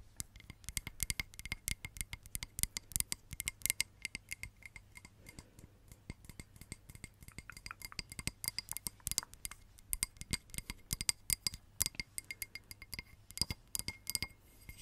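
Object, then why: Small textured glass votive holder. A small, hollow, empty red textured glass votive candle holder is tapped and scratched on its sides with long nails. Many quick, bright clicks and clinks come in rapid, uneven bursts, each dying away almost at once, with a faint high ringing tone and a soft scratchy texture between taps.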